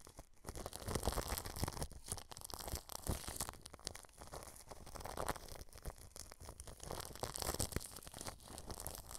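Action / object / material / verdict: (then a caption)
scrape / plastic cling film over a microphone / plastic film / none. A paintbrush brushes clear plastic cling film wrapped over a microphone grille, moving to different spots on the film. The result is a steady, close crinkling and rustling with a heavy low rumble and bright crackle.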